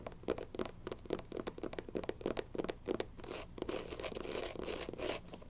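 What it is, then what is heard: Rubber sneaker sole scratched with nails. Long nails scratch quickly across the tan rubber bottom of a canvas sneaker's platform sole, making a rapid run of dry, crackling scrapes with a mid-range body and bright edges. Toward the end the strokes blur into a steadier, brighter rustle as the shoe is turned to show its black canvas upper and white sole.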